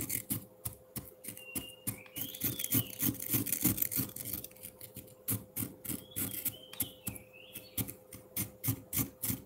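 A metal fork scrapes across the front face of a solid frozen milk ice block in rapid, uneven strokes, about three per second. Each pass makes a crisp, crackling scratch with bright high edges, while thin squeaky whistling tones glide in and out. A steady low hum runs underneath throughout.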